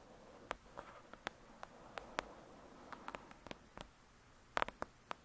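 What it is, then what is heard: Thick paperback book. Long pointed nails tap and scratch on the glossy paper front cover of a thick paperback novel, Lady Midnight, backed by a solid block of pages. Around fifteen sharp, dry clicks centred near 1 kHz stand out separately, with very short ring and no low thud. A faint, soft scratching rustle fills the quiet gaps between the taps.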